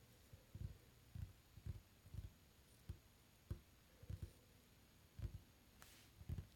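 Fingertips drum and tap on a solid, dark varnished wooden tabletop, giving soft, dull, low thuds with almost no ring. The taps come in irregular small clusters over a quiet, steady background hum.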